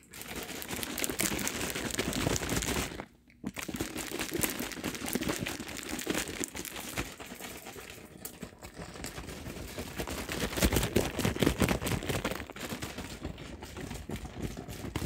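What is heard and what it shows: A large plastic soft-drink bottle with pale liquid inside is gripped, squeezed and shaken, its thin plastic crinkling and crunching almost continuously for about fifteen seconds. The dense, bright crackling stops briefly around the three-second mark, then resumes and swells again toward the end.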